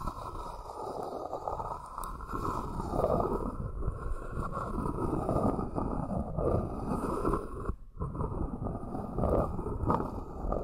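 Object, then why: Small wooden hexagonal box. Long nails tap and scratch the outer side of a small, hollow, empty two-tier hexagonal box of light wood resting on a fluffy cloth. The result is a steady, dense stream of soft, dull wooden taps and scraping, mostly low-to-mid and muffled, with no bright content.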